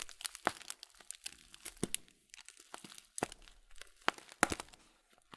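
A full blue Kölln plastic bag of oat flakes is turned in the hands and squeezed and crinkled with the fingertips. Quiet, irregular crinkles and crunches come with sharp, bright crackles in uneven bursts and brief pauses between them.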